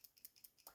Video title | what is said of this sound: PENTEL P209-VAN NEISTAT IS ONTO SOMETHING. | only thing you hear is the leads which is what you want to hear when you're shaking a mechanical pencil